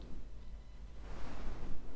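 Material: Nothing is struck.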